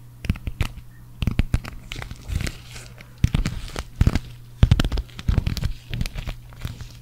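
Long acrylic nails scratch and rub a green sequin cactus patch, first on its fabric back and then on its sequin front. Many sharp crackling, crinkling clicks come in uneven bursts, with a steady low hum underneath.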